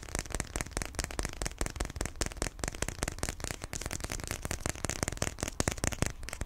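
A small, rectangular, closed iPhone XR retail box of white printed paperboard, likely still sealed with the phone inside, is held in both hands and tapped and scratched with fingertips and nails. Rapid, dense, crackly taps and scrapes continue steadily, each dry and short with almost no ring.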